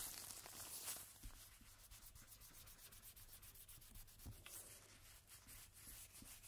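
A cotton swab held in a red-gloved hand rubs back and forth across a single thin coated-cardstock playing card with a black Jack Daniel's back, lying flat on a table. It makes a faint, bright, airy scratching and swishing, with quick repeated strokes and a few slightly louder passes.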